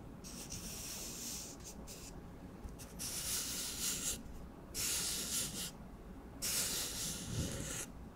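Fingertips rub and scratch along the surface of an empty, hollow brown cardboard tube from a paper towel roll. The result is a bright, dry, hissing scrape in a series of separate strokes with short pauses between them, over a faint low hum.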